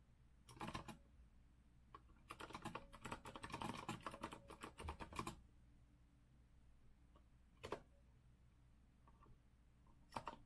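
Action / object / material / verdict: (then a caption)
tap / mechanical keyboard with metal frame and round plastic keycaps / plastic and metal / none. Both hands type with their fingertips on a rose-gold retro Azio mechanical keyboard with a metal frame and round plastic keycaps. A short burst of crisp, clacky keystrokes is followed by a longer run of rapid typing, then a couple of isolated key presses over a low, steady background hum.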